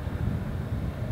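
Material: Nothing is struck.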